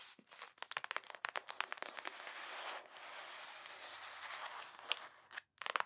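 A flat, clear plastic bag of purple glittery bead slime lies on a table and is pressed and rubbed with fingertips and long nails. Sharp, bright crackling crunches come first, then a steady crinkling rub from about 2.8 to 4.8 seconds, a brief near-silence, and a final burst of crackles.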